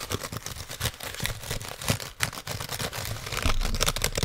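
Fingertips and nails tap and type on the keys and metal casing of an open silver aluminium laptop held up close. The result is a fast, irregular run of short, dry clicks and taps with a bright edge and some low thump, each dying away almost at once.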